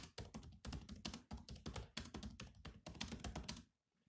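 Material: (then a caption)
Plastic. Bare fingertips type quickly on the black plastic keys of a grey laptop, making a dense run of short, crisp taps. Each tap has a soft low thump and a bright click. The typing stops just before the end, leaving near silence with a last faint tap.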